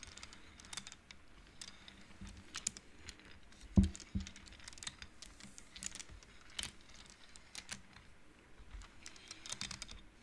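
Fingertips slide the colored wooden beads along the metal rods of a large wooden-framed abacus, so the beads clack together. Soft, short, dry clicks patter irregularly over a quiet low background, with one sharper, louder knock partway through.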